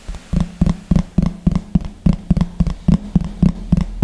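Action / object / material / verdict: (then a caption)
tap / thin plastic plate / plastic / none. A large, thin, hollow yellow plastic plate, held against the chest beside the microphone, is tapped with the fingertips and short nails of one hand in 14 quick, uneven taps. Each tap is a short, hollow, low thud with a resonant tone near 176 Hz, dying out almost at once with no bright edge.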